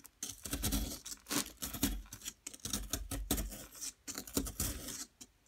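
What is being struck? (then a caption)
Plaster block. A small metal pick chips and scrapes at a solid yellow plaster excavation block. Gritty, crackling scrapes come in short bursts with brief quiet gaps, carrying bright, hissy grit over a low thudding body.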